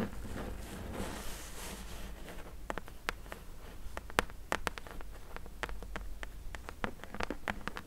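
Long nails tap and scratch on the top and top edge of a closed, hollow corrugated cardboard box. The first two seconds carry a soft, airy scratching rustle, then a run of sharp, dry clicking taps with a hollow papery ring and quick decay. A low background rumble sits under it all.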